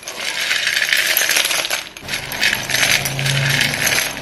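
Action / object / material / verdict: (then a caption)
shake / pile of chalk sticks in a bowl / chalk / none. Chalk-dusted hands rub and stir a pile of solid white chalk sticks in a dark bowl and pick sticks up. This makes a dense, bright clattering and rattling that runs almost without a break, easing briefly around the midpoint before picking up again.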